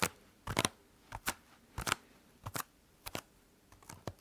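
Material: EVA foam.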